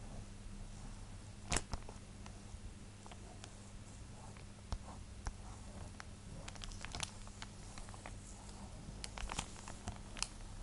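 Long nails tap and scratch the front of a thin, clear plastic sleeve holding a flat printed drawing card. Quiet, sharp, bright clicks and short scratchy crinkles come at irregular intervals over a steady low hum.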